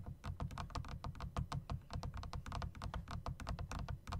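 Fingertips and nails press the keys and long spacebar of a plastic and metal typewriter-style RGB mechanical keyboard with round plastic keycaps in chrome rims. The result is a quick, uneven run of short clacky taps, each with a bright click over a heavy low thunk, decaying almost at once.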